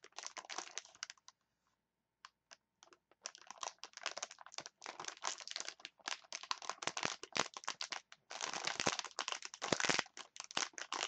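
Long nails scratch and squeeze a clear plastic package of wooden chopsticks, making dense, bright crinkling bursts with almost no low end. After a brief quiet stretch with a few isolated clicks, the crackling resumes in rapid clusters that grow thicker toward the end.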